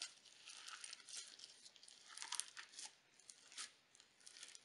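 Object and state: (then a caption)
Crunchy sequin slime. A mound of pale pink crunchy sequin slime on a white table is pressed and poked with fingertips and nails. It gives off quiet, bright crackling pops and crinkly, tearing textures that come in several separate bursts.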